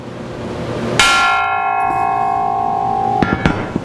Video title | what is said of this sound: Lower Control Arm Restore rebuild refinish | it's not a bell but it's got a sharp tone to it if it had a crack in or someplace you'd hear it